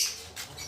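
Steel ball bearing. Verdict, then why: Loose. The old clutch-side steel ball bearing from a Motor Star 175cc is shaken by hand, giving a brief, bright, high rattling clatter with almost no low end. The bearing is loose and worn with very strong play, one cause of a running clutch, and is being replaced with a new 6202 bearing.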